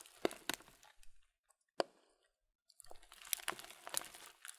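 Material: Plastic, cereal.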